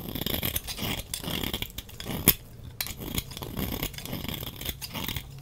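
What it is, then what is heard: Bar of soap being scraped. A utility knife blade scrapes curls from the bottom edge of a dry, red-orange rectangular soap bar held in the hand. Dense, bright scraping and crackling runs almost continuously, with a sharp click partway through and short pauses where the bar is only held.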